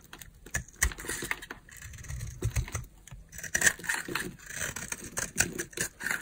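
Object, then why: Dry bar of soap and knife blade. A utility knife blade scrapes a solid, palm-sized oval bar of dry green soap held in the hand. The result is a rapid, irregular series of short, crisp scraping clicks with a bright, papery edge and a few soft low thumps underneath, each stroke dying away almost instantly.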